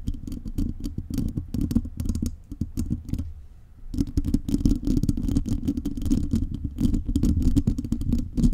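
Long nails scratch across a metal mesh microphone grille, including from the top, producing dense, rapid scraping and rattling with a heavy low-end rumble and bright crackly edges. The scratching eases briefly to a softer hush around the middle, then returns just as busy and close until the end.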